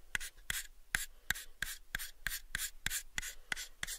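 Fingertips rub and scratch the faces of a pale, unfinished, hollow wooden box held in both hands. About 12 short, sharp scratches land in a loose, uneven rhythm, each followed by a bright, dry rasping swish with a faint tone near 1.6 kHz. The sound is quiet and close.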